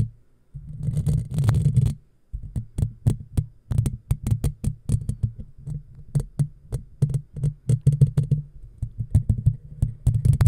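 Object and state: Metal mesh microphone grille being scratched.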